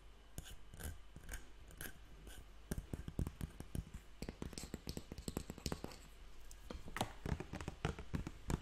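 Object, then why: Plastic water bottle, partly filled. A hand-held clear plastic Evian water bottle, about 1.5 L with a blue cap, hollow and partly filled with water, is tapped and scratched with fingertips and nails. Quick, dry clicks and taps come in irregular bursts over soft scratchy rustling, each with a short low thump and almost no ring.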